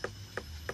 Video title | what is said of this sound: Ciri-ciri semangka mateng | Jadi ciri semangka yang sudah matang itu suaranya nyaring.